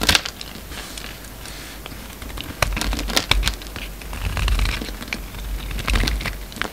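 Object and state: Soap bar being carved.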